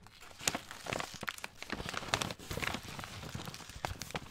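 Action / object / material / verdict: scrape / kraft paper bag of pasta / paper / none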